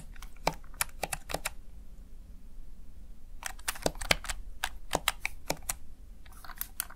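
Fingertips tap and press the keys of a small backlit plastic Razer Tartarus Chroma gaming keypad again and again, giving sharp, bright plastic clicks that die away almost instantly. The clicks come in quick bursts with a short quiet pause near the start, over a steady low background hum.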